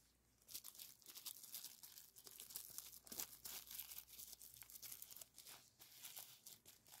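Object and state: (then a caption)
Plastic bubble wrap. A small strip of clear plastic bubble wrap, with green filling inside some of the bubbles, rests on a white towel while gloved fingertips squeeze, crinkle and pop the bubbles. The result is a quiet, bright, dense run of crackling pops and crinkles with short, dry snaps and very little low end.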